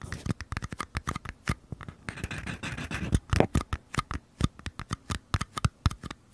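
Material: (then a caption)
Paper. Fingernails scratch the paper side walls of two identical small paper cups held sideways, making a rough scratching sound. It comes as a quick series of short, dry scrapes with a denser, continuous stretch in the middle, mostly low in tone with little high brightness.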